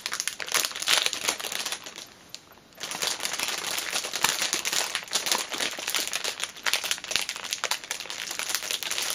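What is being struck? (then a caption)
Plastic film sleeve around a small package. A flat orange fitness band in a clear cellophane sleeve is handled as hands smooth and crinkle the loose film, then long nails scratch across the surface. The sound is a dense, bright, crackling crinkle with a brief near-silent pause early on before the rustling resumes and continues steadily to the end.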